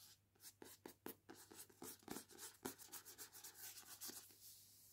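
Long nails scratch and trace over the front cover art of a paperback novel held upright, a solid paper block with a glossy card cover. The result is a quiet, rapid run of short, dry, bright scratching strokes with a soft hiss and almost no low end.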